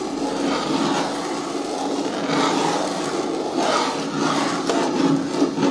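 Long nails scratch and rub the lower walls of a hard, hollow green plastic caddy bin with a lid and handle. A steady, dry rasping hiss continues throughout, rising and falling in gentle swells, with a faint low hum from the hollow body underneath.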